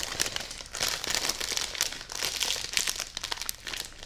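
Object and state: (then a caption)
Plastic-wrapped bedding package. A full plastic-wrapped bedding package is hugged and held up while long nails tap, press and crinkle its plastic wrap. The result is a dense, bright stream of crackly crinkles and quick ticking taps with almost no low end, swelling and easing in loudness throughout.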